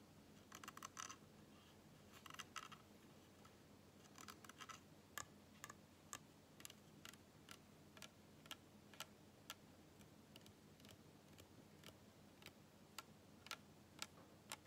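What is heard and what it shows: Fingernails tap the white plastic cap and body of a small PET plastic bottle full of dark cola, held in one hand. Quick bursts of rapid clicking in the first few seconds give way to spaced single taps. Each tap is a short, dry, bright click over a faint, steady low hum.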